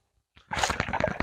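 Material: Coconut.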